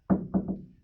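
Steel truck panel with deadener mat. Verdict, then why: Deadened. Three knocks on a steel panel of a 1955 Chevy truck treated with Noico RED 315 mil sound deadener mat give dull, low thuds centered near 190 Hz that die away quickly with almost no high ring. The deadened panel answers with more of a thud than a tap.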